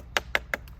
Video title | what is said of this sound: 'The tree's going to be OK' - Maui arborist provides update on Lahaina's famous Banyan tree | you can hear that, that's hollow